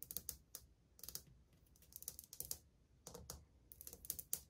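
Long painted fingernails tap and drum across old glazed white ceramic subway tiles on a solid wall. Quick clusters of crisp, bright clicks come in short bursts with brief pauses between them. Each tap dies away almost instantly, and the overall level stays quiet.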